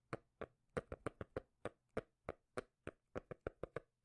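Fingers tap on a cork lid in a quick, uneven rhythm of 17 short, dry knocks. Each knock has a soft low thud and a muted midrange tone with almost no ring, and the taps sometimes bunch close together and sometimes spread apart.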